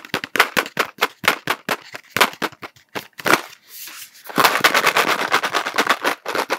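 A cardboard Smarties tube is held horizontally and tapped quickly with fingertips and nails. Dry, sharp clicks with a bright, papery tone and almost no low end come in rapid bursts, with a brief soft rustle in the middle. They then settle into a denser, steadier run of fast taps.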